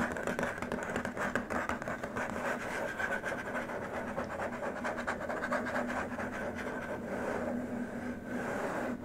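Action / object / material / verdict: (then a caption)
scrape / plastic keyboard wrist rest / plastic / none. Both hands' fingertips and short nails scratch and tap along a long, flat white plastic keyboard wrist rest. The result is a steady, dense stream of quick dry scratches and light taps with a faint hollow tone around 240 Hz, and little low end.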